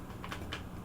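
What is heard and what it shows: A steel-bladed LK Chen Dragon Sparrow dao is shaken in its scabbard to check for rattle, producing four faint, short clicks over a low steady hum. The fit is snug with very little rattle, depending on how hard it is shaken, and the blade sits firmly without falling out.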